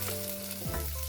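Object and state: Nothing is struck.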